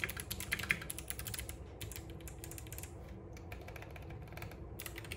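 Both hands type continuously with their fingertips on a compact RGB-backlit mechanical keyboard with plastic keycaps and clicky switches, resting on a wooden desk. Rapid, bright, short clicks clatter irregularly, loudest and busiest at the start, then settle into a steadier, softer patter over a low background rumble.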